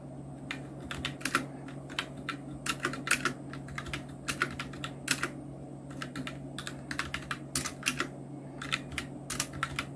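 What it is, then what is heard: Plastic mechanical keyboard being typed on. Continuous two-handed fingertip typing on a full-size black Nubwo Illution NK-70 mechanical keyboard with Outemu red switches, round plastic keycaps and blue backlight. Short, sharp plastic keystrokes land in quick, uneven bursts with bright clacks and no lingering ring, over a steady low hum.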